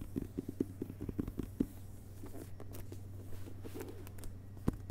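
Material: Paper.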